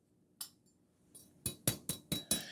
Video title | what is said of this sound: Breakfast Twice Baked Potatoes, great for breakfast, lunch, or dinner | Hear how crispy that is?